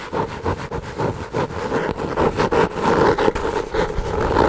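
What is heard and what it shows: Long nails scratch the cover and top edge of a brown, textured, kraft-paper-covered hardcover notebook with ribbon bookmarks. The result is a continuous rasping, scraping sound with a midrange emphasis. It swells and dips in short strokes and grows slightly louder toward the end.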